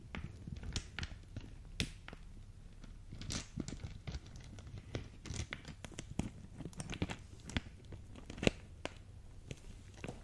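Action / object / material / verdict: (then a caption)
shake / plastic zip bag of acrylic gems / plastic / none. A small clear plastic zip bag filled with faceted pink acrylic gems is held close and squeezed and crinkled with fingertips and long dark nails, shifting the gems inside. The result is a quiet, continuous stream of crinkling plastic with sharp clicks and crackles from the gems, over a low rumble.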